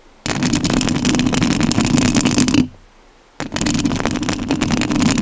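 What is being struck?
Metal mesh microphone grille.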